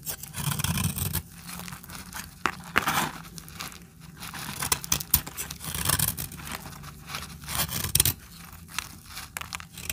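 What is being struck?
Bar of soap scraped and cut with a metal blade.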